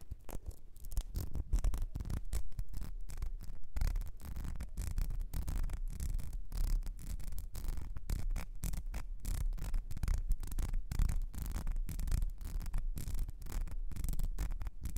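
Long nails scratch across a small, ribbed, clear glass perfume bottle that is partly filled and held in both hands. The result is a steady, dense run of quick scratching strokes for the whole clip, with a soft, low-weighted, muffled tone and little brightness.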